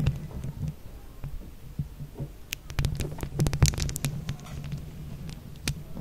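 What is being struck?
Mesh microphone head covered in plastic buttons.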